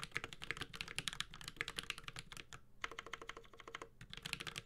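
A Space65 Cybervoyager 65% mechanical keyboard with a metal case, Holy Panda switches and ABS plastic keycaps is typed on continuously with the fingertips of both hands. Rapid, bright, sharp keystroke clacks with a thin low thud beneath run in a steady stream, broken by a brief pause just before the three-second mark before the typing resumes.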